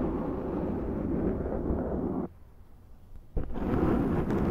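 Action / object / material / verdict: scrape / foam microphone windscreen / foam / none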